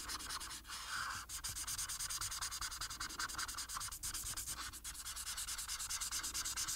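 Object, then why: Marker tip on a paper sheet. A marker tip is rubbed continuously over a flat paper coloring sheet lying on a table. Quick back-and-forth strokes make a steady, bright, papery scratching hiss with a faint tone near 1.5 kHz. Each stroke is short and dry, with no ring.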